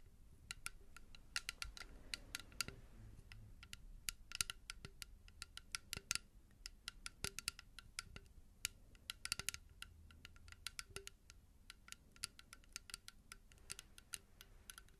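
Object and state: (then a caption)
Hollow plastic bottle. A small, hollow blue plastic bottle is tapped and scratched with long nails. A quick, uneven run of sharp, dry, bright clicks sounds over soft scratching, each tap dying out almost at once at a quiet level.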